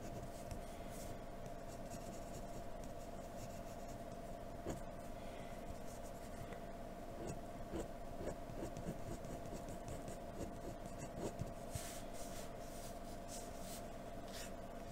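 A hand draws on a flat white paper sheet with the tip of a graphite pencil. It makes a steady, quiet scratching and rubbing sound throughout. The drawing sound sits over a constant low hum and a steady mid-pitched tone.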